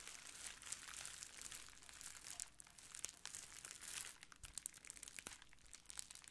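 A clear plastic bubble wrap sheet is rubbed with fingertips, then crumpled and squeezed in both hands. The result is a steady, quiet hiss of bright crinkling, broken by sharp little crackles and snaps with almost no low end.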